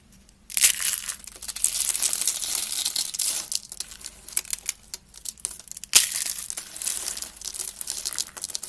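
Small hollow spiral curls of dry pink soap are squeezed and crushed in one hand with fingertips and nails, shattering into flakes. A dense, bright crackling and crunching starts after a short silence, thins out, then surges again in a second sharp burst near the six-second mark. The sound is almost entirely high-pitched with no low end.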